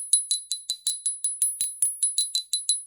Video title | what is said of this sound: Lemurian Cathedrals, Leilanis, Smokey Phantoms, and roots | It rings. Oh my goodness, it's got a huge spread between the tones.